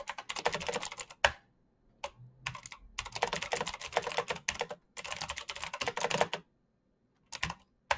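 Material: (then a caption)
Plastic. Fingertips type fast on a black plastic mechanical keyboard with backlit keycaps and clicky switches. Dense bursts of crisp, bright clacks run together, broken by brief pauses. The typing stops for about a second near the end before a final short flurry.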